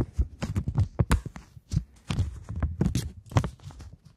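A single polymer £20 banknote is held flat, flexed and pulled taut between fingers while long nails tap and crinkle it. The result is a quick, irregular run of soft, dull taps and short crinkling crackles, mostly low thumps with brief bright edges that die away almost instantly.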